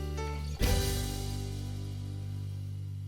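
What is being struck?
Nothing is struck.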